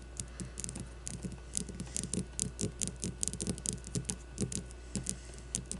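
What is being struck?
Leather baseball.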